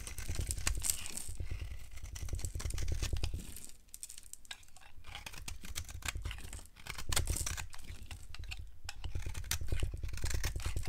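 A solid yellow-orange bar of dry soap, held in the hand, is carved with a yellow utility knife, giving a steady run of crisp, rapid scraping and crackling cuts with bright, dry crunches over a deep low rumble. The cutting eases to a quieter stretch around the middle before picking back up, as crumbly chips break off the bar.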